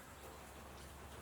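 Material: Nothing is struck.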